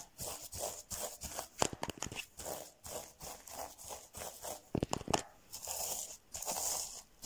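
Fingertips and nails scratch and brush over reversible rainbow plastic sequin fabric covering a soft, padded object, likely a pillow or pouch, flipping the sequins. The result is a steady run of quick, bright, crinkly swishes and raspy scrapes, with a few sharper, crisper flicks mixed in.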